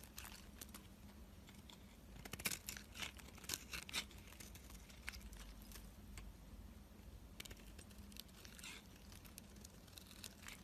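A black utility blade shaves thin strips off a solid white bar of soap held in the hand. It makes a quiet run of soft, bright, crinkly scraping strokes, some louder than others, over a faint steady low hum.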